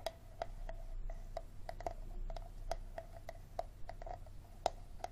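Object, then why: Thin plastic water bottle. A small, empty, clear plastic Dasani water bottle, hollow and still labeled, is tapped and scratched on its ribbed bottom and sides with short fingernails and fingertips. Quick, dry clicks, each with a hollow tone around 700 Hz, repeat at an uneven pace, mixed with soft scratching over a steady low hum.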